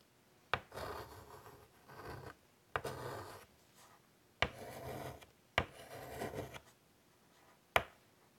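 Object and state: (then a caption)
Chalk scratching on a wood-framed chalkboard. A stick of white chalk is drawn in curly doodles across a large, flat, wood-framed chalkboard lying on a table. Five sharp taps, each as the chalk touches down, are followed by bursts of dry, gritty scratching strokes with short quiet gaps between them.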